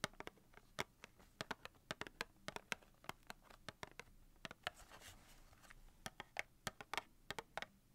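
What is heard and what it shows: Long painted nails tap and scratch the front label of a small cardboard box of 250 wooden matches held in both hands. A quick, irregular series of sharp, dry, bright clicks stops almost instantly, with a soft papery scratching in the middle. The sound is quiet and close.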